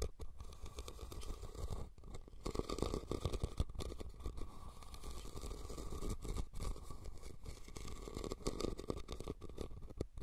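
A hollow, red woven rattan cylindrical basket, turned upside down over the recorder, is scratched and tapped on its woven sides with fingernails. The sound is a steady, muffled, low-heavy scraping and pattering with quick, dry taps and brief pauses throughout.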